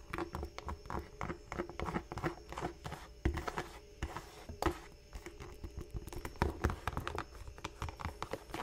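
Fingertips and long nails tap and scratch the chunky rubber sole of a single black smooth-leather Dr. Martens Chelsea boot, hollow and empty and held in the hands, then move to the leather toe cap. The result is a steady stream of quick, dull, low taps with short scratchy strokes. Each tap dies away almost at once.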